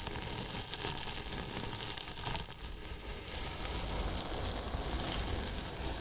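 Two thin paintbrushes scratch and brush across the top of a large, white, hollow polyethylene foam box with a microphone inside. The result is a steady, dense rustling and scratching with a deep, hollow low-end rumble and a bright, hissy texture that swells slightly louder toward the end.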